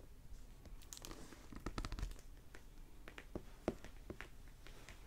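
Fingertips and nails tap and scratch the glossy plastic-covered paper dust jacket of a closed hardback library novel, "Tucker's Last Stand," lying on a wooden table, crinkling the cover. The result is a quiet run of short, dry taps and crinkly scratches with bright clicks over a low, soft thud, and the book itself sounds solid.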